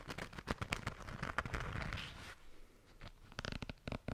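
Long nails scratch and tap across a small, flat, pink glitter-coated zipper pouch, producing a rapid series of dry, crackly clicks with a bright scratchy hiss. A steadier scratching stretch fades to quieter rustling, then sharp, distinct taps return at the end.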